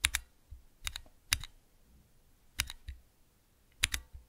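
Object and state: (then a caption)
Plastic key switch tester. Fingertips press the keys of a small clear plastic 3x3 Cherry MX key switch tester, giving ten sharp, bright clicks, mostly in quick down-and-up pairs. Each click has a faint low thud beneath it and dies away almost instantly.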